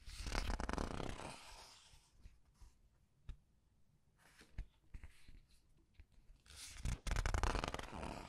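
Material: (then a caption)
Glossy paper. Several glossy paper pages of a large art book are flipped and rubbed by fingers. A loud, dense rustling sweep opens the clip, then quieter scattered crinkles and soft ticks follow. A second loud burst of papery rustle closes it.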